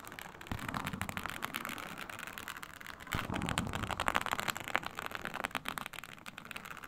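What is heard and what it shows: Long nail tips scratch across a flat, iridescent, snakeskin-textured faux leather sheet, a synthetic mat with a snake-scale surface. Rapid, dry, crackly scraping plays in a steady stream of quick irregular strokes, with a bright rasp over a soft low rustle. It grows a little louder and busier about halfway through.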